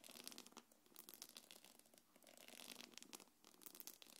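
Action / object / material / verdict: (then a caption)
scrape / small quilted faux-leather belt bag / faux leather / none. Long nails scratch across the front and top of a small quilted black leather-look belt bag, making a quiet, dense run of bright, crackly scrapes and taps with almost no low end. The rough, tearing texture comes in uneven bursts, each dying away almost instantly.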